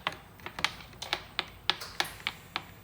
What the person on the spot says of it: you can hear it tapping so that is now at the bottom of your fuel tank